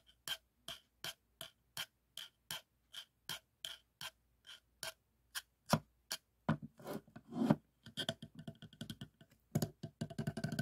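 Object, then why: Hollow plastic tube. A hollow teal plastic tube with a grained surface is held in both hands and scratched and rubbed with fingernails along its ridges. Short, dry, bright scratches come at a steady, even pace, then turn louder and faster into dense, rough rubbing with a faint tonal ring.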